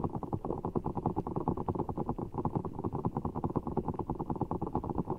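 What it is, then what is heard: Giant water gel bead ball being squeezed. Fingertips squeeze and rub a large, soft, full giant orbeez ball of blue water gel beads in a clear rubber skin, held over the mic. A rapid, uneven run of muffled, wet squelches and soft crackles fills the low and middle range, with almost nothing bright.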